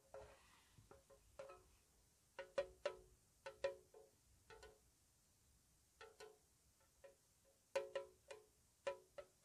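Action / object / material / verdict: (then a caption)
tap / small metal tea tin with lid / metal / none. A small, hollow, square white-painted metal tea tin with its lid on is tapped with long nails in a slow, soft pattern. Seventeen light, separate taps ring with a short metallic tone centred around 566 Hz, each with a bright edge. They decay quickly into quiet between hits.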